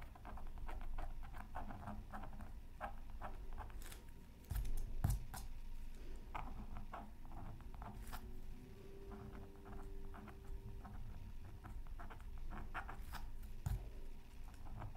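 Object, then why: Coated scratch art paper and wooden stylus. A wooden stylus scratches lines into the coating of a flat, black-coated scratch art sheet from a Mythical Creatures Super Scratch Art Pad, resting on a silicone mat. Dense, irregular scratchy patter and short crackles run throughout, with most of the energy low and dull. A few louder, sharper scrapes stand out around the five-second mark and near the end.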